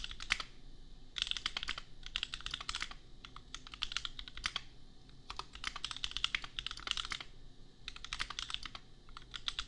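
Fingertips type on a compact custom mechanical keyboard with Gateron Milky Yellow switches and red and pink plastic keycaps. Quick bursts of crisp, bright clacks come in rapid runs separated by short pauses, each keystroke dying away almost instantly over a low, steady background hum.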